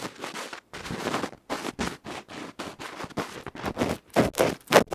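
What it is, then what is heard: Microphone capsule scratched directly. A bamboo ear pick scratches the dark felt front of a small metal electret microphone capsule held in the fingers. About fourteen rough, broadband scratching strokes come in uneven bursts. They grow louder and brighter toward the end.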